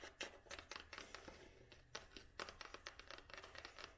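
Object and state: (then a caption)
Cloth-bound hardcover book. An old hardcover book with a red cloth binding and a spine label is held in the hand and tapped and scratched with long nails. The result is a quick, irregular series of light, crisp taps mixed with soft scratching, each tap dying away almost instantly. The sounds are quiet and bright, with little low end.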